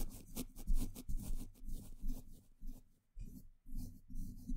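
A small paintbrush brushes and scratches a hollow woven metal mesh microphone grille on its top, side and front. The result is irregular bursts of soft, scratchy rubbing with a heavy low rumble and bright hissy edges, separated by brief near-silent gaps.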